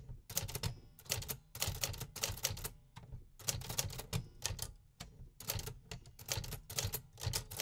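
Fingertips press the keys of a metal 1950s typewriter in repetitive mechanical typing. Quick runs of sharp, bright clacks over a low thump come in bursts, separated by brief pauses. Each strike dies away almost at once.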